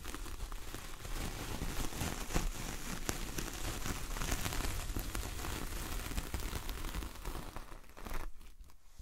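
Long fingernails of both hands scratch and drag across the bristly surface of a large flat coconut coir door mat. The result is a dense, continuous crackly rasp with faint brief ticks, sounding somewhat like rain on a surface or crinkling. It fades and thins out near the end.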